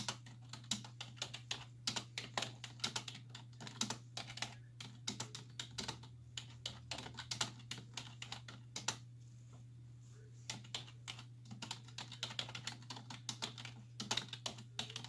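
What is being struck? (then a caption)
Plastic computer keyboard. Two hands with long white-tipped nails type continuously on a black plastic desktop keyboard with hollow key caps, resting on a wooden desk. Nails and fingertips tap the keys in quick, bright, short clicks, with a brief pause near the middle. A steady low hum runs underneath throughout.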